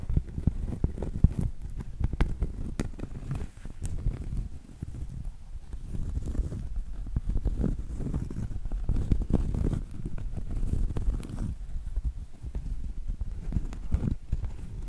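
Long acrylic nails tap and scratch the face and edge of a round solid cork coaster held tilted. The sound is a steady run of soft, dull, low taps mixed with muffled scratching, each tap dying away at once with no ring.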